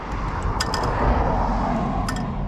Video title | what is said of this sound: The Sheep Farmer - The Hidden Village of Galboly, County Antrim (Summer Tour, Day Four) | it sounds empty. And not much in there.